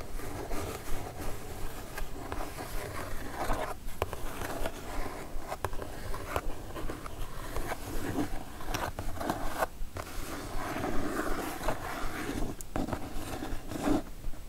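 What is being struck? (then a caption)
Cardboard box. Long teal nails scratch and tap the flat top of a closed brown cardboard Divoom product box with a black pixel-art print, lying flat on a fluffy blanket. A steady stream of dry, muffled scratching runs throughout, broken by soft, quick taps with little ring, mostly low and dull with almost no bright edge.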